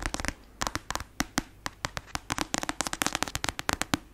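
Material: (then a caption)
Paper. Long acrylic nails tap and scratch quickly on the glossy cover of a black paperback novel, a solid block of paper. About 24 sharp, bright, dry clicks ring out briefly, with faint scratchy noise between them, and the taps come faster toward the end.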